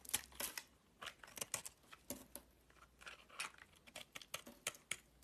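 A box-cutter blade scrapes the edge of a solid green bar of soap held in the hand. It makes a quick series of short, dry, crisp scraping and shaving strokes, mostly high and bright with almost no low end. Each stroke stops abruptly, with quiet gaps between them.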